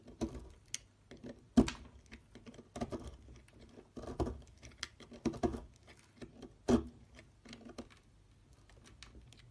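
A metal knife blade carves and scrapes a solid oval purple Dalan soap bar held by fingers on a dark table, with shavings falling off. Soft, quick cutting and scraping sounds come in short, dry bursts, and a few louder cuts stand out among quieter scrapes.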